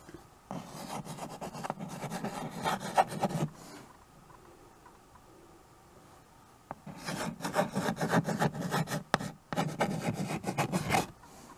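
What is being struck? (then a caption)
Chalk on a wood-framed chalkboard. White chalk held in the fingers scratches across the dark surface of a small, flat chalkboard in a wooden frame while writing cursive names. Two long bursts of quick, raspy strokes with a low, woody body are separated by a quiet pause broken by a single faint tick.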